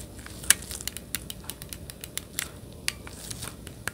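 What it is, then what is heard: Plastic game controller grip, button clicks. Gloved fingertips rapidly click the buttons on a hollow, handheld-size plastic Nintendo Switch Joy-Con controller grip held beside the microphone. About sixteen sharp, bright, dry clicks ring out at irregular intervals over a faint steady hiss, each stopping almost instantly.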